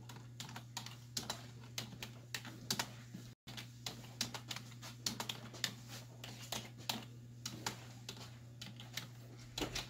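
Both hands with long white nails type on a black plastic desktop keyboard with hollow keys, striking with fingertips and nail tips. The result is an irregular stream of bright, short clacks over a steady low hum, with a brief silent dropout near the middle.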